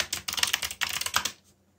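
Fingertips, one of them bandaged, type on a backlit mechanical keyboard with black plastic keycaps. A quick run of bright, sharp plastic clicks comes in two bursts, each key dying away almost at once. The typing stops and the last half-second falls quiet.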